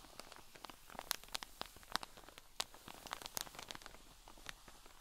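A cotton wool pleat pack in a clear drawstring plastic bag lies flat while long fingernails on both hands scratch and tap across its top. Quick, dry crinkly taps and scratches sound in an irregular patter, bright and crisp, with no ringing after each hit.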